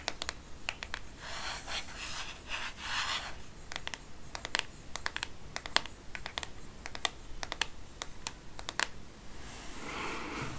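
Fingernails tap and rub on the back and edge of a black matte plastic smartphone case, making sharp, bright clicks mixed with soft scratchy swishes. The taps come irregularly, with brief stretches of rubbing in between and a longer rub at the end.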